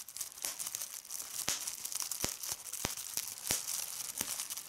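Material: Plastic.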